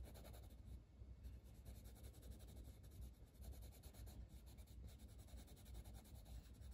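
A dark green wooden colored pencil colors a flat paper coloring book page in quick strokes, its lead scratching and rubbing across the paper. The sound is a steady, soft, low-heavy scratching that stays continuous for the whole clip, with faint bright edges on the strokes.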